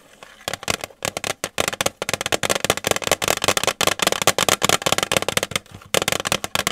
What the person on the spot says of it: 9:24- 10:05 Tapping on a tin